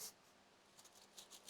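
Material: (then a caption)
Leaves. Dried-out leaves of a golden China doll plant (Radermachera sinica), left unwatered for two weeks during a heatwave, are rustled close to the microphone. Four faint, crisp crackles with high-frequency hiss come through, showing that every leaf is crispy and dry.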